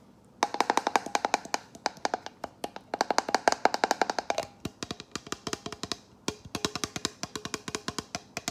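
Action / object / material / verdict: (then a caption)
tap / plastic water bottle / plastic / none. Fingernails tap rapidly on a plastic water bottle, used in place of a glass jar. Dozens of short, crisp, clicky taps arrive in quick bursts separated by brief pauses. Each tap carries a faint hollow ring around 700 Hz that dies away almost instantly.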